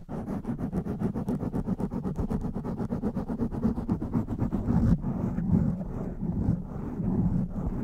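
Fingertips and long nails scratch quickly over a blue foam windscreen on a black microphone, making a dense, fast run of rough, boomy scraping strokes. Near the end, hands cup the foam, and the sound becomes a muffled, low rubbing with the brighter edge gone.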